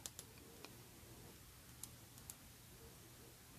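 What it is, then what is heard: Glass perfume bottle. A partly filled, faceted rectangular Aerin glass perfume bottle with a gold and wood-look cap is held in both hands and tapped with long painted nails. Five quiet, sharp, bright clicks ring very briefly against a low, steady background hum.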